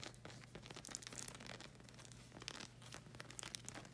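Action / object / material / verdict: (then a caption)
scrape / rubber slide sandal sole / rubber / none. Long red acrylic nails scratch along the strap and black rubber sole of a flag-print slide sandal, making quick, dry, crackly scratches with bright, crinkly edges. A steady low hum runs underneath the whole clip.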